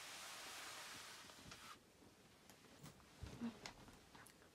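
Two hands with long white nails scratch the padded back of a glossy black nylon down jacket worn by someone lying on a bed. A steady, bright, hissy scratching fills the first couple of seconds, then drops to a soft rustle. A few sharper scrapes and crinkles stand out near the end.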